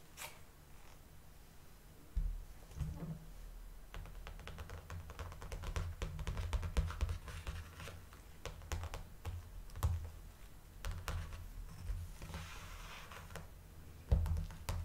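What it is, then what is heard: Clear plastic blister packaging. Long nails tap and scratch across the back of a large, hollow clear plastic clamshell pack over the label, with a cardboard insert showing through. Quick, dry clicks and short scratchy strokes come in uneven bursts over a low, soft rumble, with a few louder taps standing out.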